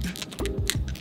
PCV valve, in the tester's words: you can hear it rattling so pop yours off and shake it if it's you know got a good rattle to it you're good to go